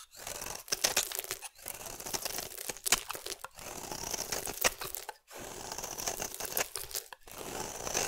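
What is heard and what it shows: A metal utility blade scrapes fine curls from a solid green oval bar of soap. Each pass gives a bright, dry, crinkly tearing-and-scraping rasp, and the strokes repeat unevenly with brief silent gaps between them.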